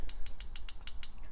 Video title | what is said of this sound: Figaro Weekly Social Live on 15th May | you might even be able to hear that just tapping on there